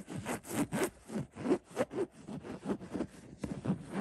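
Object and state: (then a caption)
Linen throw pillow being scratched. Fingertips scratch and rub the coarse fabric of a cream linen-weave stuffed, printed throw pillow. The result is a series of soft, dry, scratchy strokes in an uneven rhythm, each a brief rasping burst that stops quickly with no ringing.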